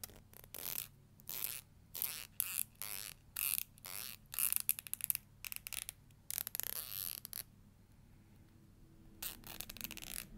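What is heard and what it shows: Long nails flick along the teeth of a black plastic hair comb held horizontally, producing short bursts of bright, ratchet-like scratching. The bursts come in quick clusters with brief gaps, followed by a quiet stretch before a few softer scrapes return at the end.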